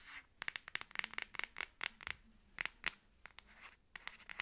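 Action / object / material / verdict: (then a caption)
scrape / plastic phone case on a smartphone / plastic / none. Long acrylic nails scratch and click across the back of a Samsung smartphone in a black plastic case with a camera cutout, held in both hands. About 18 quick, dry, bright scratches and taps come in uneven bursts, centred around 2 kHz with almost no low end. Each one stops short with no ring.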